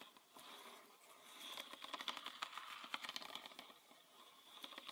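Fingernails tap and scratch a green PET bottle full of liquid, on both its body and its red plastic cap. A quiet, irregular run of light, dry clicks mixes with a bright, scratchy rasp, with no low end and almost no ring after each tap.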